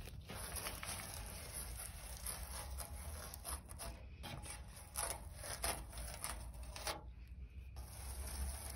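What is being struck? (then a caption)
Rusted steel sheet. Long pointed red nails scratch and tap the rough surface of a large, flat rusted steel sheet lying outdoors with a leaf on it. Quiet, dry scraping and rubbing are broken by a few sharper taps, all over a steady low rumble and a faint, bright hiss.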